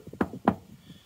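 Two short, dull knocks on the steel chassis of a Corsa B, struck next to the fuel tank for comparison. Each knock is a muted, low-mid thud that dies away almost at once with no ring. The chassis sounds solid, a very different sound from the empty fuel tank.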